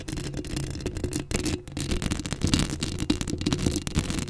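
Long acrylic nails scratch the top of the hollow steel mesh grille on a Blue Yeti microphone. The result is a dense, continuous rasping scrape with a heavy low rumble, rapid gritty bursts and faint high hiss.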